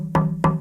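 An Adirondack spruce top is tapped twice, giving two short, woody knocks with a low tone near 160 Hz. The knocks die away quickly, showing a more dampened response with less sustain than other spruces.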